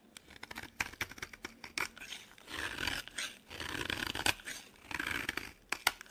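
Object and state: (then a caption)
Bar of laundry soap being carved. A solid, dry, pale yellow bar of laundry soap held in the hand is carved with a metal box-cutter blade, peeling off thin slices and flakes. Crisp, bright scraping and shaving strokes alternate with short sharp clicks as the blade bites and drags through the soap, with little low end.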